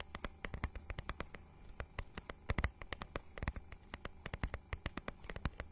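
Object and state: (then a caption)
Textured plastic book cover. Long nails scratch and tap a notebook-sized book with a holographic, scale-textured plastic cover held in front of the microphone. A rapid, uneven run of sharp, dry clicks and scrapes sounds, each snapping off almost instantly, with a soft low rumble underneath.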